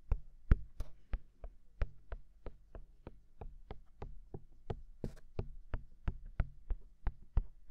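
Fingertips tap steadily on white silicone dummy ears mounted on a black binaural microphone. The 25 short, dull, low thumps come at an even pace, each with a faint bright click and almost no ring. Under the taps sits a soft low hum.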